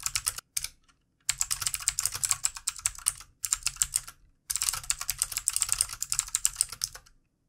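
Fast fingertip typing with both hands on a full-size backlit plastic mechanical computer keyboard with plastic keycaps. The result is quick, bright, clacky keystrokes in dense bursts separated by brief pauses, each click dying away almost instantly with very little low end.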